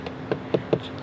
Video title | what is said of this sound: 👉 2020 Honda Civic Hatchback Sport - Ultimate In-Depth Look in 4K | it's not super soft so it bottoms out very quickly you can hear when I tap against it it bottoms out quickly almost like the hard touch surfaces